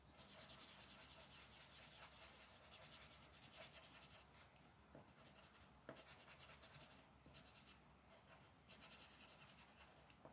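A dark purple colored pencil, held by a hand with long black nails, scratches and shades a flat paper coloring sheet resting on a wooden table. Quiet, bright, papery scratching comes in rhythmic bursts of back-and-forth strokes, with brief pauses between passes.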